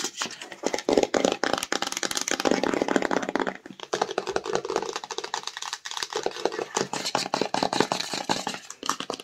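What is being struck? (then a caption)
Rigid cardboard phone box. Long nails rapidly tap and scratch the front and sides of a small, hollow, black rigid cardboard Samsung phone box as it is turned in the hands. The result is a dense stream of quick, dry clicks mixed with papery scratching that has a bright midrange and almost no low end. The sounds are clustered in bursts with brief dips between them.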